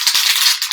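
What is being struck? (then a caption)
Metal aerosol spray paint can with mixing ball. A Design Master aerosol color spray paint can is briefly shaken so the mixing ball rattles inside, mixing the contents for an even spray. The result is a quick, bright, high clatter of the ball against the metal can with almost no low end.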